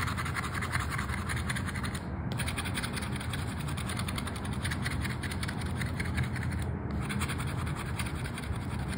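A gold-coloured metal coin held in the fingers is scraped repeatedly across the latex scratch-off layer of a small, flat, thin "Sorte 7" paper scratch-off lottery card lying on a dark mat. The result is a steady, continuous rasping scratch with a low rumbling body and a bright, gritty edge, paused briefly around 2 and 7 seconds.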